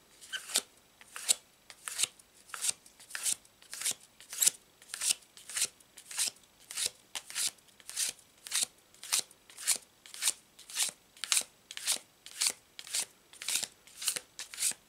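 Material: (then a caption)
Paper card. A checkered-back paper tarot deck is split into two stacks and overhand-shuffled by hand, fingertips sliding the stiff card stock past each other. About two dozen short, bright sliding-and-snapping bursts repeat at a steady, slightly uneven pace across the clip, with almost no low end and no ring after each.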